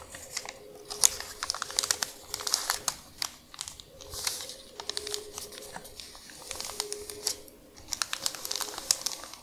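Long nails scratch and crinkle a thin, folded, printed paper medicine instruction leaflet lying flat on a dark surface, while fingertips smooth it out. The sound is a quiet, dense run of bright, crisp crinkles and sharp scratchy ticks that come in bursts over the whole clip, with a faint steady low hum underneath.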